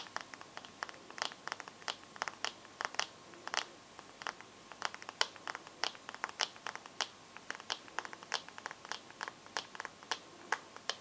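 Fingernails tap and scratch the glass screen and metal frame of a bare smartphone, producing dozens of quick, sharp clicks and light scrapes. The taps are bright and dry with almost no ring or low end, set against a quiet background with a faint steady tone.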